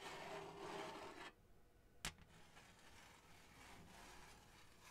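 Long acrylic nails scratch and rub across a flat, thin, printed blue-and-gold cardboard Hanukkah placemat with a menorah design, held against the mic. A loud, dense rasping rub fills the first second, drops to quieter scratching, is cut by one sharp tap near the middle, and continues as softer, steady scraping to the end.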